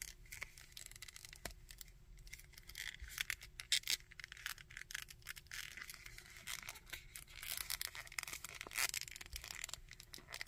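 Fingertips scratch and rub the coat of a small plastic Red Skull action figure and move its limbs. The result is a quiet, bright, dense patter of crackly scratches and tiny clicks, with a faint steady hum underneath.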